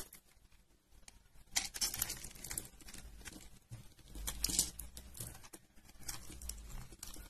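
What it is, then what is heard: Dry soap bar, crunchy when cut. A metal blade cuts and scores a solid pale yellow bar of dry soap held in a hand with purple nails. Dense, bright crunching and crackling comes in irregular rapid bursts, with louder swells near the start and middle. The same bar gives the same dry, crisp crunch throughout.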